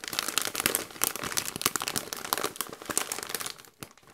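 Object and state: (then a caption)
Plastic foil chip bag crinkling. A medium-sized Doritos chip bag of metallized plastic, partly full of chips, is squeezed and crinkled by white costume gloves. Dense, bright crinkling and sharp crackles run continuously with little low end, tapering off toward the end.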